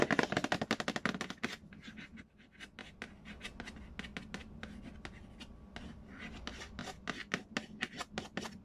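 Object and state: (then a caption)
Cardboard board game box tapped and scratched. Fingertips and nails trace and scratch across the glossy printed lid of a large, hollow cardboard Payday board game box. A rapid burst of bright, dry taps opens the clip, then it settles into softer, continuous scratching with scattered taps before the quick tapping picks up again. Each tap is short, with almost no ring and a faint hollow body.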